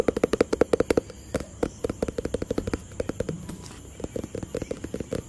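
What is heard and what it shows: Fingertips tap a hollow white and blue cardboard product box in quick, irregular bursts. Each tap is a short, dry, hollow knock with a mid-pitched body and almost no ring, separated by brief quiet pauses.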